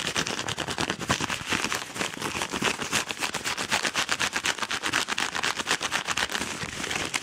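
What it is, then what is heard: Kraft paper padded mailer envelope. Fingernails scratch fast across a yellow Amazon kraft paper padded mailer envelope while fingers squeeze it. The result is a dense, rapid run of dry, bright, papery scratches and crinkles with little low end, steady throughout the clip.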